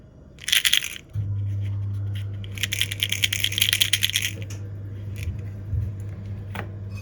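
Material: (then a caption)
Sugar. Gingerbread rattle cookies, with bead sugar sealed inside a hollow made of glass candy, are shaken, and the loose beads give a bright, clinking, coin-like rattle. The rattle comes in a short burst, then a longer, denser one, while a steady low hum runs underneath from just after the first burst to the end.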